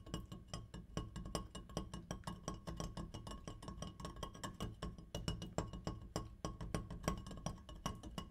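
An opera light is tapped rapidly and repeatedly, giving a steady run of short, dry clinks. Each tap dies away almost at once, with most of the sound weight in the low range.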